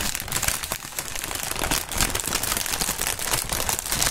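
Clear polyethylene air-cushion packaging film (plastic air pillows) is squeezed and crinkled with the fingers, possibly popping some of the cushions. A dense, steady run of bright, crisp crackles and crinkles carries on throughout, with soft low thumps underneath and no pauses between the sounds.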